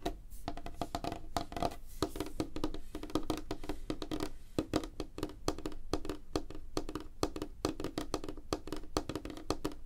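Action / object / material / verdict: tap / wooden tabletop / wood / none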